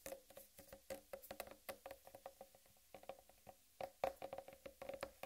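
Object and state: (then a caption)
Whole watermelon. Long red-painted nails tap and scratch the green striped rind of a large, whole, uncut watermelon. The result is a quiet, rapid run of short, dry taps with a hollow, woody tone around 540 Hz. Bright scratchy clicks mix in, with a brief pause midway before the tapping resumes.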